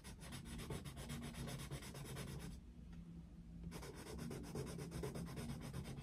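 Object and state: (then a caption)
Coloured pencil shading on paper. A yellow wooden coloured pencil densely shades a Mickey Mouse picture in an open paper colouring book on a desk. Quick, steady rubbing and scratching strokes on the paper have a soft low grain and little brightness, pausing briefly in the middle before resuming.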